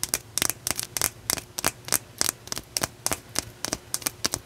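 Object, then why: Raw blue calcite chunk. A solid, rough, raw blue calcite chunk is turned in the hands while long nails tap and scratch its uneven surface. About 17 sharp, bright clicks and scratchy crackles come at an irregular pace, each very short and dry with almost no ring, over a faint low hum.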